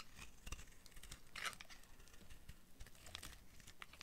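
A utility knife blade shaves and cuts curled slices from a solid, hand-sized purple oval bar of dry soap held in one hand. The result is a quiet, steady run of dry scraping and crisp, crackly cuts with short bright snaps, one standing out near the middle.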